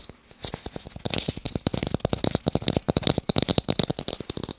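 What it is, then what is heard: Wooden blocks. Fast tapping on wooden blocks makes a rapid, uneven run of short, dry clicks. Each tap dies away almost at once, with a bright high edge over a lighter low knock. The tapping starts sparse and quiet, then grows denser and louder.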